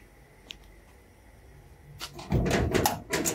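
A hand taps and knocks with fingertips and knuckles on the flat surface of a large, hollow-panel, brown-painted sheet-steel door fitted with lock and latch hardware, while a metal wristwatch is worn on the wrist. After a quiet start with a faint tick, a quick run of light taps builds into louder, dull, hollow knocks that stop short with little ring.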